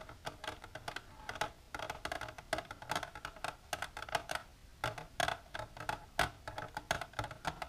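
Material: Plastic.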